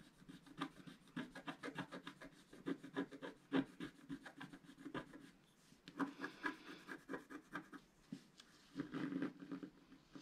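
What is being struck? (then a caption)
Wax-coated scratch paper sheet and wooden stylus. A wooden stylus stick scratches a flat, black wax-coated scratch art paper sheet, roughly A4 size, lying on a table while the other hand holds it steady. Quick, dense rasping strokes with a dull mid-low tone come in bursts, fade into a brief lull around the middle, then pick back up.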